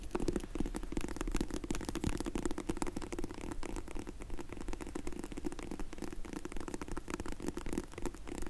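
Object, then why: Faux leather hard glasses case. Long nails rapidly tap and scratch the lid of a closed, dark grey faux leather hard sunglasses case for Zinff sunglasses, held in the hands. The result is a steady, dense stream of soft, dull clicks and rasping scrapes with a low hollow tone.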